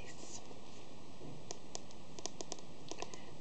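A hollow plastic collector's edition DVD box set case, roughly book-sized with a glossy printed cover, is held upright and scratched and tapped with long fingernails. Soft, quiet scratching leads into about ten light, crisp clicking taps at an uneven pace over a faint background hiss.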